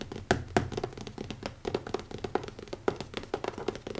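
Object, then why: Leather-covered hardcover notebook. Fingertips tap quickly on the cover of a small, closed black leather-covered hardcover notebook with an elastic band, resting on a wooden table. The result is a rapid, uneven stream of short, dull, muted thunks with a soft mid-low body around 370 Hz and very little ring.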